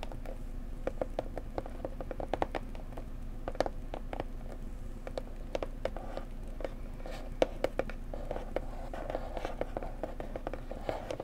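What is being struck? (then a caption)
Small decorative box. A pretty blue decorative box is tapped gently up close with fingers. Rapid, soft, short taps with a dull mid-pitched knock around 500 Hz sit over a steady low background hum.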